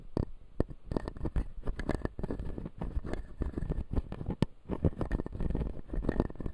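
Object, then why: Acrylic dental model with resin teeth. Fingertips and nails scratch along the upper resin teeth of a clear acrylic dental model held in both hands. Dense, rapid scratching and clicking fills the clip, mostly low and dull with brief sharper ticks, at a close, quiet level.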